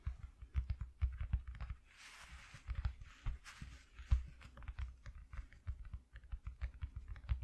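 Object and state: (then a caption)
Cardboard piece. A piece cut from an empty cardboard shoe box is tapped with fingers, making a quick, uneven run of soft, dull, low taps that die away almost instantly. Around the two-second mark a brief, faint papery rustle rises between the taps.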